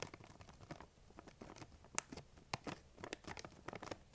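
Long nails tap and scratch across the top of a large, printed plastic M&M's candy bag that appears full. Soft, irregular crinkly taps and scrapes patter quietly with a bright, papery edge. A couple of sharper clicks stand out, and each sound stops almost instantly.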